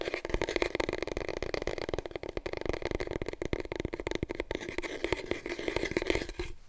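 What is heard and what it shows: A long, hollow, empty brown cardboard core from a big paper roll, held in both hands, is rapidly tapped and scratched with long painted nails. A dense run of quick, dull taps mixes with dry scratching, with a hollow tone near 330 Hz ringing briefly inside the tube.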